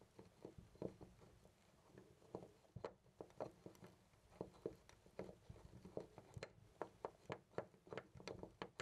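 A hand grips a loose brass-colored metal knob on a white interior door and jiggles and rattles it in place. The result is a quiet, uneven series of short, dry metallic clicks and clacks with a mid-range rattle and almost no ring after each knock.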